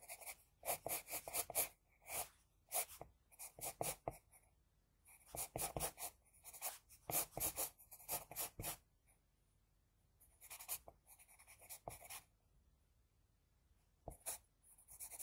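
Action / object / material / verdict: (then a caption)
scrape / drawing paper sheet scratched by a graphite pencil / paper / none. An HB pencil scratches across a flat sheet of drawing paper, drawing hair strands. Quick clusters of short, bright, scratchy strokes come in bursts, separated by brief pauses. The sound is quiet and dry, with little low end.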